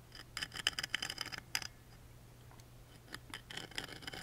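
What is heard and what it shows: A wooden toothpick scratches and traces the engraving on the small engraved wooden lid of a music box. Quick bursts of dry, bright scratching and ticking come in irregular clusters, with a quieter stretch in the middle. A faint low hum runs steadily underneath.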